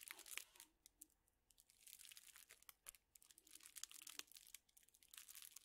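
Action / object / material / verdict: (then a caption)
scrape / plastic-wrapped drinking straws / thin plastic / none. A bundle of straws in thin clear plastic wrappers is crinkled and squeezed with the fingertips. The result is a quiet, bright, crackly crinkling, with dense bursts of sharp rustles and snaps. There is almost no low end, and each crackle dies away instantly.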